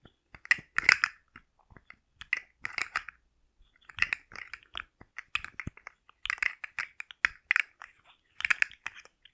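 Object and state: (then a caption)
Plastic articulated slug fidget toy. A rainbow, segmented hard plastic slug fidget toy with hollow jointed segments is held in the hands, flexed and scratched with long nails. Its segments give off clusters of dry, bright clicks and scratchy rattles centered around 2 kHz, with almost no low end. Each burst dies away instantly and is separated by short pauses.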